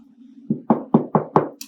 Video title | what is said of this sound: Godly Play Story - The Parable of the Leaven | Kind of sounds like a door when I knock on it.